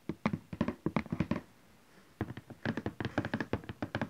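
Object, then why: Cardboard printer box. A large cardboard Canon Selphy printer box, likely with the printer inside and lying flat, is tapped with the fingertips and nails of both hands. About 24 quick, dull, hollow taps come in an uneven rhythm, with short clusters, a brief pause near the middle, then a denser run. Each tap dies away almost at once.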